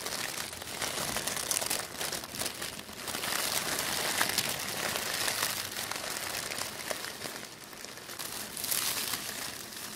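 Thin sheets of black tissue paper are pressed and scrunched between the fingertips of both hands, with rings on the fingers. The result is a steady, dense crinkling and crumpling that is bright and airy, with little low end, swelling and easing in loudness throughout.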